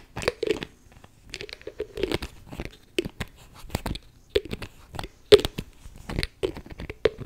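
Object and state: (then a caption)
Plastic spray bottle. Long nails tap and fiddle with the clear plastic cap and lid of a beige plastic spray bottle that is likely full. The result is a run of short, dry, crunchy clicks and scrapes, each ringing only briefly, with a mid-toned body and bright crackling edges.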